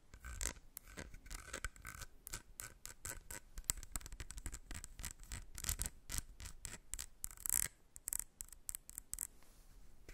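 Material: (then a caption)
Plastic. Long red nails scratch and tap the body of a small, partly full, white squeezable plastic Embryolisse face cream tube with a screw cap, held in the hands. The result is a rapid, uneven run of dry scratches and crisp, bright taps that die away instantly, with no ring.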